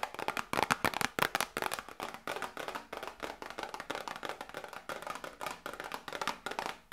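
A small hollow cardboard medicine box, held in both hands, is tapped rapidly with long nails. The clicks are quick, dry and hollow, with little low end, a midrange tone near 860 Hz and a bright edge. They come in uneven bursts throughout, each dying away almost at once.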